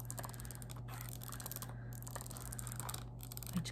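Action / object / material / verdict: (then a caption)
scrape / plastic markers in a plastic case / plastic / none. Long painted nails and fingertips tap and scratch along the plastic caps of markers packed into a full, clear plastic case. A quick stream of bright clicks and scratchy ticks runs over a steady low hum, with a slightly louder tap near the end.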